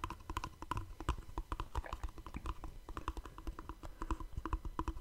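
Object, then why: Small cardboard gift box. Fingertips and short nails tap rapidly on the surfaces and edges of a small, hollow black cardboard gift box held beside a microphone. The result is a quick, uneven run of short, dry taps: each has a dull low thump and a light papery click, and it dies away almost instantly.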